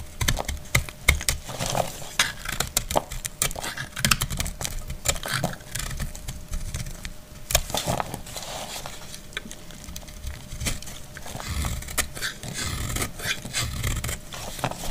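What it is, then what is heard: Dry soap bar being scraped and chipped. A solid, dry brown household soap bar is chipped and scraped with a metal utility blade, and chunks break off. Dense, rapid, crisp clicks and short scraping strokes crackle with a bright edge over dull, low thuds. Each snap dies away almost instantly.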